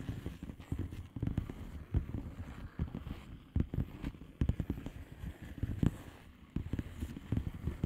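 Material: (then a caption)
Plastic. Long nail tips tap the bubbles of a flat blue plastic bubble wrap envelope in quick, uneven bursts. Each tap is a soft, dull, low thud with almost no ring and little brightness, and the clusters of taps run on across the whole clip.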